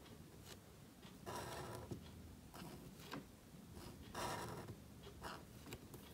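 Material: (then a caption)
Paper. A calligraphy marker nib scratches strokes across a thin, flat sheet of black cardstock held flat. Several dry, scratchy strokes rise and fade as short papery bursts over a low, quiet background.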